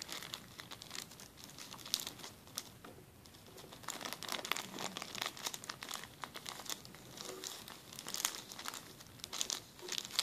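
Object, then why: Plastic zip-lock bag. A flat, empty clear plastic zip-lock bag lying on a table is rubbed and scratched with fingertips and short nails. It makes a steady stream of bright, crisp crinkling with quick scratchy bursts and almost no low end. The sound swells and eases as the rubbing changes pace.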